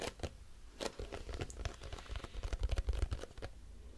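A grey squeezable plastic cosmetic tube with a crimped end, likely filled, is tapped with long nails. The result is a quick run of soft, dull taps with light crinkly clicks, uneven in rhythm and mostly low in tone, each dying away almost at once.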